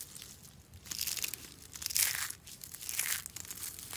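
A heap of hollow, curled shavings of dry green soap is grabbed and crushed in one fist. Dry, bright crunching and crinkling comes in surges, loudest around one, two and three seconds in, over a soft low rumble.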